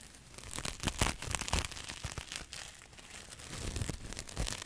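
A small, soft, porous, light green synthetic mesh sponge pad, dry, is squeezed, rubbed and crinkled in both hands close to the microphone. Dense scratchy crinkling and tearing-like rustles come in irregular bursts, with bright crackle over a low, muffled thump from the handling.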